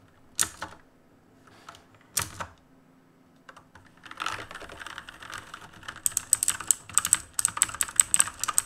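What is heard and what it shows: Fingertips of both hands tap the plastic keycaps of a black plastic-and-metal mechanical keyboard resting on a desk. A few separate, sharp clacks are followed by a steady run of rapid, bright, clicky keystrokes, with a faint high tone running through the later typing.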